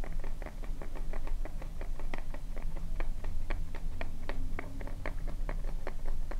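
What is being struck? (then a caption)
Small plastic lotion bottle. A small white plastic cosmetic lotion bottle with a purple cap is tapped quickly with long nails, producing a rapid, uneven patter of short, crisp clicks. The taps sit over a steady low hum that carries most of the energy.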